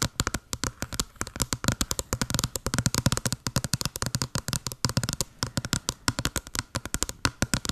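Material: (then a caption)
Cardboard. Long blue nails tap and scratch a small, hollow white patterned cardboard box in a rapid, steady run of short, dry clicks. Each tap has a low, hollow thump from the box body and a bright scratchy edge, and it dies away almost instantly.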